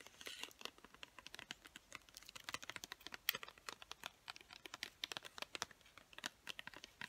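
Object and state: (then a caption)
Plastic pencil package tapped with nails. Long nails rapidly tap and scratch the surface of a hand-sized clear plastic package full of colored pencils. The result is a quick, dense stream of dry, crisp clicks and crinkly scratches, bright and thin with almost no low end, each tap dying away instantly.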